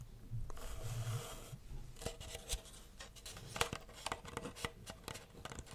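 Long red nails scratch and rub the side of a small, hollow brown kraft paper takeaway coffee cup with a lid and printed text, held in hand. A steady raspy rubbing opens the clip, then gives way to a series of short, sharp, bright scratches and taps on the paper.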